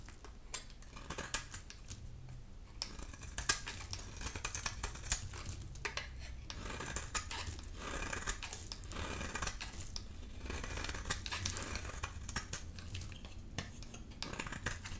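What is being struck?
Bar of soap.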